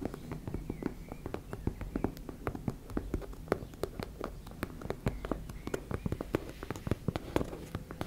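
Long red nails scratch and tap rapidly across a teal embossed-fabric makeup bag. The result is a steady stream of quick, dry clicks and taps over a soft, low scratching rustle, with very little high end and almost no ring.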